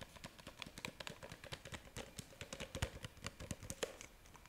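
Long nails tap rapidly on the body and red plastic lid of a clear plastic jar filled with pink pieces, held close to the microphone. The result is a quick, uneven series of crisp, dry clicks and ticks with a bright top and light low thumps, each one dying away almost at once.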